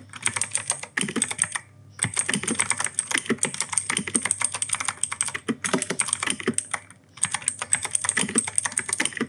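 Fingertips type fast on an E-Yooso K-620 mechanical keyboard with plastic keycaps and clicky Outemu Blue switches. Dense runs of sharp, bright clicks with short, dry decay are broken by two brief pauses.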